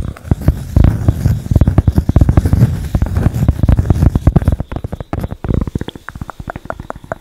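A thin, flat cork board held close to the mic is scratched and tapped with long acrylic nails. A dense run of dry, low, rumbling scratches and clicks gives way to sparser, sharp taps near the end, each dying out instantly with no ring.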